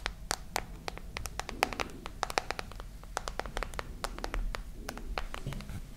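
Long nails rapidly tap the back and edges of a dark glass and metal smartphone held horizontally. The sound is a quick, irregular run of sharp, dry clicks that stop almost at once, with bright upper edges over a soft low rumble.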